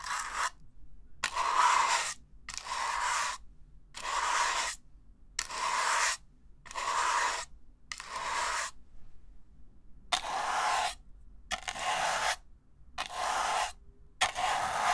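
An empty, hollow red-and-white disposable paper cup has its inner wall and rim scratched with a small black plastic bristle brush. Thirteen separate rasping strokes, each under a second, come in a loose rhythm with short silences between. The scraping is bright and papery, with a hollow resonance around 1 kHz and almost no low end.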